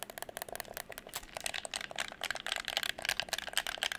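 Fingertips tap and click the buttons and triggers of a hollow red plastic gamepad held beside the microphone. A rapid, uneven stream of bright, dry plastic clicks and taps sounds, each dying away almost at once, with hardly any low end.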